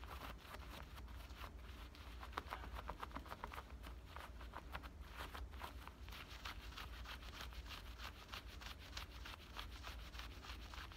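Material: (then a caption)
Denim. Fingertips and nails scratch and rub the front pocket and waistband of worn black denim high-waist shorts with a metal button fly and soft fabric. A quiet, continuous run of quick, dry scratching strokes with bright fabric rasps sits over a steady low rumble.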